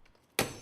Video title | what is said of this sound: 조직을 검사하지 않고 소변만으로 암 발병의 유무를 진단할 수 있다 | 일반 유리에 경우 산산조각이 납니다